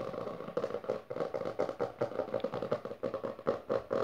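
Both hands with long dark nails tap and scratch fast on the textured maroon cover of a closed, solid hardcover book resting on purple fabric. The result is a rapid, dense run of dry, clicky taps mixed with scratchy rasps, each stroke dying away almost at once, with a mid-range papery tone around 470 Hz.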